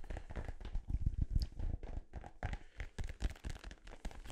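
A blue, hollow, inflated synthetic-leather soccer ball is held in both hands close to the mic and tapped and scratched with fingertips and nails. The result is a quick, irregular run of soft, deep thumps with very short decay. Dry scratchy crinkling runs between the taps.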